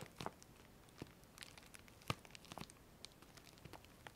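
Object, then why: Flexible plastic postal mailer bag. Long manicured fingernails and fingertips scratch, rub and crinkle the surface of a large, flexible, printed plastic Colissimo postal mailer bag, a closed parcel with contents inside, held up in both hands. Quiet, irregular crinkles and bright scratchy taps are heard, with one louder crackle near the middle.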